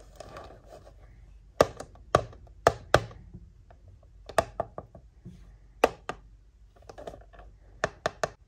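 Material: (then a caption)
Cardboard. Decorated long nails tap and scratch the back panel of a hand-sized, hollow printed cardboard retail box for a Disney Doorables Ariel's Secret Cove toy set, held in both hands with the toy inside. Sharp, dry, bright taps come in irregular bursts and die away almost instantly. Soft scratchy rustling fills the gaps between them.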